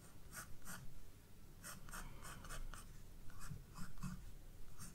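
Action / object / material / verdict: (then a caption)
scrape / graphite pencil on a paper sketchbook page / paper / none. A graphite pencil, held by a hand with long red nails, scratches and draws strokes across the white page of a spiral-bound paper sketchbook lying flat on a wooden desk. Quiet, dry, bright scratching bursts come in a loose rhythm over a soft low rumble, each stroke stopping abruptly with no ring.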